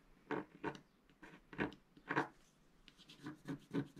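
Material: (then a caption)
Coated card. A wooden stylus scratches a flat, black-coated scratch-art card in short, repeated strokes near a planet motif. It makes a series of quiet, dry scraping rasps with soft pauses between them.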